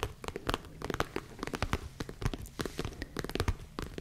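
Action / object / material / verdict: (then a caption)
scrape / small leather zip case / leather / none. Long nails scratch and tap the sides of a small, hollow tan leather zip case held close to the mic. Quick dry taps and crinkly scratches come in a rapid, uneven stream. Each one has a soft, low body and fades almost at once.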